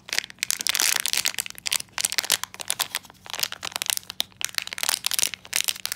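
Fingertips squeeze and crumple a small black, sealed metallized plastic foil blind bag with a pin inside, held in both hands. A dense, bright crinkling and crackling comes in bursts with brief quieter gaps, with almost no low end.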